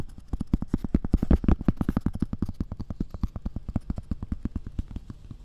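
Long red-painted nails tap and scratch a round, thin, solid cork coaster held beside the ear of a binaural dummy-head microphone. About forty quick, soft, dull taps follow one another at an uneven pace, each a short low thud with almost no ring or brightness. They swell louder around the first second and a half, then settle into a steady, quieter patter.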